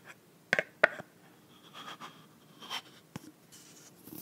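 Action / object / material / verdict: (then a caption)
tap / plastic body mist bottle with plastic cap / plastic / none. Long nails tap and scratch the frosted pink plastic cap of a clear plastic body mist bottle filled with pink liquid. Three sharp, dry taps with bright click edges stand out, separated by quiet, soft scratching and rubbing on the cap.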